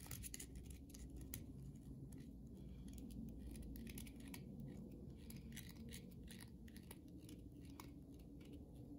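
Long nails scratch and tap along the surface of a solid white bar of soap held in the hand. Quick, irregular scrapes and crisp clicks come in a rapid stream, with bright ticks over a soft, low, steady background rumble. The overall level stays quiet and even throughout.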